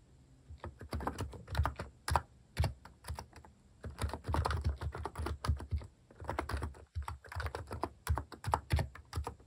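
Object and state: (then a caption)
Plastic keyboard being typed on. Fast typing on a plastic mechanical keyboard with cat keycaps, fingertips tapping the plastic keycaps while a hand sweeps over the keys. Quick, clacky keystrokes come in dense bursts separated by brief pauses, each press short and dry with a deep, thocky low end.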